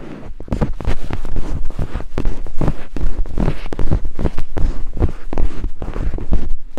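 Two thin wooden picks held in the fingertips scrape rapidly over white silicone binaural microphone ears. The result is a dense, close, rumbling scratching dominated by deep low thuds, with quick strokes that fade almost at once and little high-end content.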